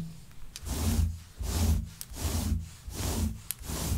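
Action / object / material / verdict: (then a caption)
scrape / synthetic faux fur rug / synthetic fur / none. A hand with long nails scratches through the pile of a grey shaggy synthetic faux fur rug. Repeated soft, breathy rubbing strokes swell and fade in a loose rhythm, with a deep low rumble beneath and a few brief bright clicks.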